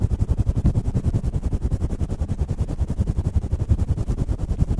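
Fingertips of both hands quickly scratch, squeeze and rub a fluffy grey faux-fur windscreen on a stand microphone. The result is a dense, irregular stream of deep, muffled thumps and rumbling rustles, heavy in the low bass with almost no bright content.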